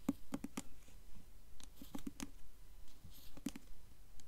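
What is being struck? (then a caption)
Hardcover book with glossy paper dust jacket. Long nails tap and scratch the glossy paper dust jacket of a blue 'Wards of Faerie' hardcover book held upright, whose jacket bears an embossed gold coin. About twelve quiet, dry, short taps land at an uneven pace, each with a low hollow knock and a bright clicky edge, with soft papery scratching in between.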